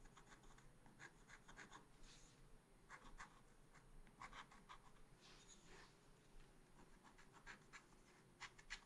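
A pointed wooden stylus scratches a small, flat, solid black-coated scratch art sheet held in a spiral pad. Repeated short scratching strokes make quiet, dry, bright rasps over a faint steady low hum.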